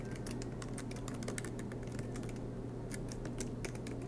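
A silver MacBook Pro laptop with low-profile black plastic keys set in an aluminium body sits on a desk mat while both hands type continuously with their fingertips. The result is a steady stream of soft, bright key taps over a constant low hum near 125 Hz.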